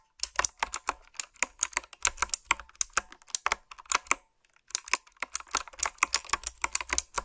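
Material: Plastic.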